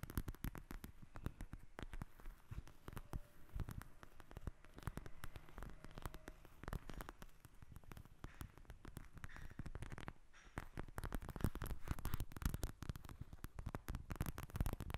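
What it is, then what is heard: Plastic gel bead eye mask. A pink plastic eye mask filled with gel beads, flat and soft and lying on a glass table, is tapped and scratched with long red acrylic nails. Many quick, dull taps and scratchy rustles come in dense bursts with a short pause near the ten-second mark. The sound is quiet and mostly low, with little high content.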